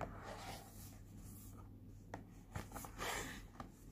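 Fingertips and nails rub and scratch across the printed front of a small, flat, pink cardboard Cooky face point mask box held in the hand. A soft, papery rasp is heard, with three sharper scratch clicks near the end. It plays quietly over a faint, steady low hum.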